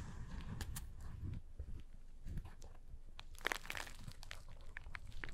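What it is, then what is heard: Cardboard box scratched. Fingertips press and scratch the top surface of a small, hollow cardboard box with a paper label. The result is a quiet run of dry, crinkly scratching and crunching over a soft, low, hollow thump from the box, with brief sharp ticks and no ring.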